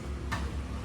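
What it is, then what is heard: Loose worn car suspension joint. A worn car suspension joint with a plastic bushing is wiggled by hand and gives a single ticking clack over a low steady hum. The joint is loose from wear; it was later repaired by replacing the bushing with steel, after which it became firm.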